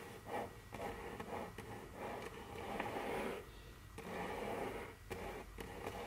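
Very long curved fingernails tap and scratch on a large, solid, dark brown glossy wooden tabletop. Sharp, brief clicks are scattered between longer, breathy scraping passes that swell and fade. The sound is mostly midrange with a faint bright edge on the taps.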